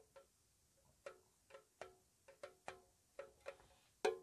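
Long nails tap slowly and softly on the lid and side of a small, hollow, square white-painted metal tea tin. Ten separate light, hollow clicks sound, each with a brief ring near 430 Hz, and the last tap is the loudest.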